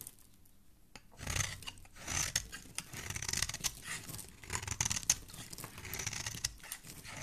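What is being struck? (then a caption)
Soap bar shaved with a metal blade. A small, solid, cream-colored bar of soap held in a hand with dark-painted nails is shaved along its face and edge with a metal blade, producing soap flakes. After a quiet first second, a run of dry, bright scraping and rasping strokes follows, each short and crisp with little ring, rising and falling in loudness.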